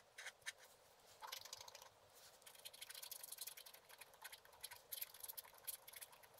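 A wooden stylus scrapes away the black coating near the bottom edge of a flat coated scratch-art paper card lying on a table. The sound is a quiet, dry, bright scratching made of short, rapid strokes with no low end, coming in uneven bursts over several seconds.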